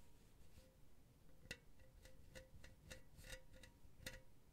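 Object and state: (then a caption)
Metal mesh pen holder. Long blue nails scratch across an empty silver metal mesh pen holder held close to the microphone. Short, bright scratchy clicks each carry a faint metallic ring near 520 Hz over a quiet, low background rumble.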